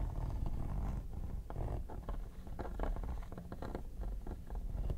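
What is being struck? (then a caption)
Hard plastic vanity case with textured quilted top. Two metal tweezers scratch across the textured top of a hollow, mint-green quilted hard plastic vanity case. The scraping comes as a dense run of rough, gritty strokes over a steady low, hollow rumble. Short bright ticks flicker through it at a fairly constant level.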